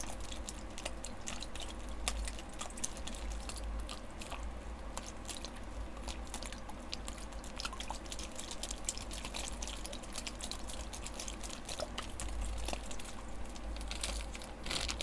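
A single small, clear plastic zip-lock bag with a green seal, full of water, is squished and shaken in one hand with the fingertips. It makes a steady stream of soft sloshing and squelching, with many quick, bright crinkly clicks over a low, constant rumble.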